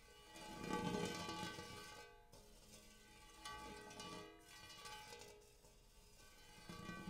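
One hand scratches and taps the dimpled interior of a large, shallow, empty gold hammered metal bowl with fingertips and nails. Three soft swells of metallic ringing rise and fade, with steady shimmering overtones over a low hum near 190 Hz. A light scratchy texture sits beneath the ring.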